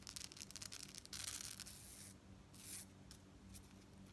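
A necklace of small gold and silver metal tube beads with a gold chain fringe is held up while long nails scratch and tap the beads. Quick, bright, clicky taps come first, then bursts of dense, hissy scratching as the nails rub across the beads, with lighter ticks in between.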